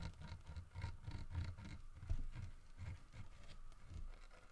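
Fingernails tap and scratch the head and carved fur of a solid carved wooden bear statue. The result is a quiet run of soft, low, dull taps mixed with faint scratchy patter, with one slightly sharper knock about midway through.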